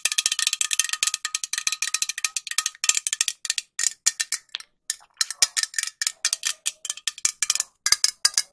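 Long nails tap a hand-sized, hollow green metal aerosol spray can with a white plastic cap. Dozens of quick, bright, high-pitched metallic ticks come in fast runs, with a brief gap near the middle. Each tap is dry and short with almost no ring and no low end.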